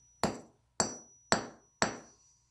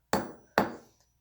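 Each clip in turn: First: brittle silicon shattering under a hammer. Second: brittle carbon that breaks when hammered.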